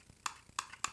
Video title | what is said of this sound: DJI Mini 3 Pro - Unboxing Review (USA) | this battery is very hollow